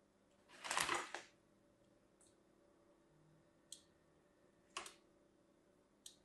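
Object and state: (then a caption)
Bar of soap. A hand-sized solid orange and white striped bar of soap, held in the hand, is scored with a thin metal blade. One longer, rough, bright scraping cut comes first, followed by several short, crisp scratch ticks spaced apart. The background is quiet between strokes.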